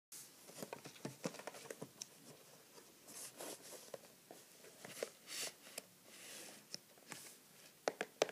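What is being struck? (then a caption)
Cardboard product box. Fingertips and short nails tap the sides of a medium-size printed cardboard product box for a neti pot, closed and holding its contents, standing on a wooden table. Quiet, irregular, dry taps and light scratchy brushes with a papery crinkle, each dying away almost at once, with a few louder clicks near the end.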